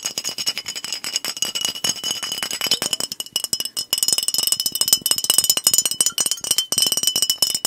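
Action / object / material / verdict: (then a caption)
tap / glass bottle with liquid inside / glass / none. A fingernail taps quickly and continuously on the body of a glass soda bottle with a blue cap and liquid inside. The taps are short and crisp, each with a bright, high glassy ping and almost no low end, forming a dense, rattling stream of clicks that swells slightly louder partway through.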